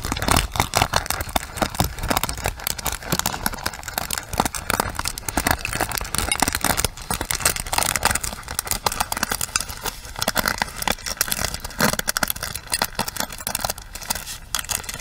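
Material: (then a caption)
Plastic. Long nails scratch across the ball-tipped pins of a pink plastic paddle hairbrush and tap its rim, close up. The result is a dense, continuous crackle of rapid, dry plastic clicks and scrapes with a bright, hissy top and no lingering ring.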